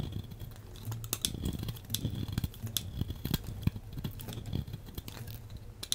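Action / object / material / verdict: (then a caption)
scrape / bar of soap cut with a metal blade / soap / none. A solid beige bar of soap is shaved with a metal blade in steady scraping cuts. It sounds like a quick run of short, crisp, crackling scrapes, each with a soft low thump and a bright, dry edge that stops almost at once.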